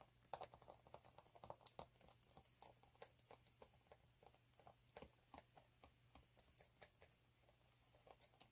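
Curled fingers with short nails scratch and tap the rough surface of a flat, multicolour chunky glitter sheet lying on a dark cloth. The result is a quiet, steady run of dozens of short, crisp clicks and scratches with a bright edge, over a faint low hum.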